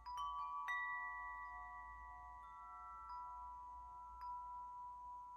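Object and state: Metal tube wind chime.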